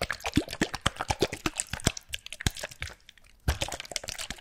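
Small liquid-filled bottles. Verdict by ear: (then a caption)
Full. Small bottles containing liquid are shaken close to the microphone, giving a rapid run of short, bright plops, drips and sloshes with a low thump under each. The shaking pauses briefly near three seconds and then resumes. The sloshing and dripping show there is liquid inside the bottles.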